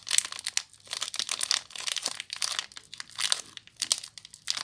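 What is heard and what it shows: Long nails crinkle and scratch the clear plastic wrapper on a small bar of soap. The clip is a series of crisp, bright crinkling bursts with short pauses between them, with almost no low end and no ringing after each rustle.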